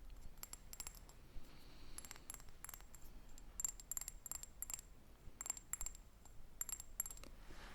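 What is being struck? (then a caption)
Glass perfume bottle. Light, bright clicking taps on a Davidoff Cool Water Woman Coral Reef limited edition perfume bottle come in a dense, uneven run. Each tap is short and dry with a high, glassy ring that fades almost at once, over a low, steady background hum.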